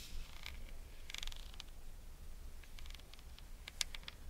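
A pair of espadrilles is held up while long nails scratch and tap their braided jute rope soles. Soft, dry, bright crackles and quick ticks come in scattered bursts over a steady low background rumble, with one sharper tap near the end.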